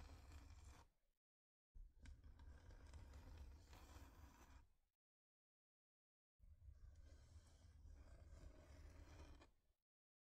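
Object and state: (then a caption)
Wooden heart plaque scratched with nails. Long nails scratch across a thin, flat, solid wooden heart-shaped plaque in three separate bursts of a few seconds each, with silence between them. The scratching is a dense, rough scraping, heavy in low rumble with a faint bright hiss on top.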